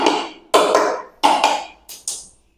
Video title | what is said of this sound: ఫ్లోరింగ్ వేస్తున్నారా అయితే జాగ్రత్తగా ఉండాలి 👷 | Space మొత్తం gap ఉంది.